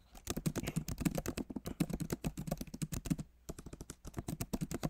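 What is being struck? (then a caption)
Laptop keyboard with plastic keycaps. Both hands type rapidly with their fingertips on the plastic keycaps of a backlit MacBook Pro Magic Keyboard set in an aluminum body. The result is a fast, dense run of short, dull taps with a low, soft thock and little brightness, each click dying away almost instantly. A brief pause falls about two-thirds of the way through before the typing resumes.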